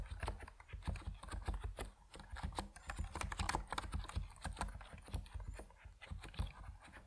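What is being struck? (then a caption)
Mechanical keyboard with PBT plastic keycaps. Both hands' fingertips type continuously on an Epomaker NiZ Plum Atom 68, a 68-key compact mechanical keyboard with white and purple PBT plastic keycaps resting on a wooden desk. The result is a dense, steady stream of short, dry keystrokes with a deep, low-weighted thock and little bright click, each stroke dying away almost instantly.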